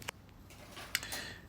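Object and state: Hollow-sounding baked bread loaf.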